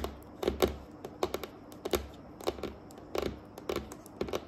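Long painted acrylic nails tap and drum on a flat, solid dark wooden tabletop in a typing-like rhythm. The clip is a quick run of short, dry, clicky taps, some in pairs and small clusters, with a faint hollow knock under each and no ring.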